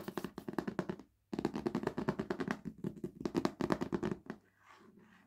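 Long nails and fingertips tap rapidly and repeatedly on the glossy dust jacket of a large, solid hardback book lying on a wooden table, giving about thirty crisp, dry clicky taps with a brief pause near the start. The tapping stops just after four seconds, leaving only a faint, soft rustle at the end.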